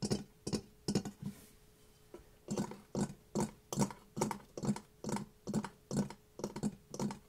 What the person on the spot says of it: CERAMIC MASK TAPPING ASMR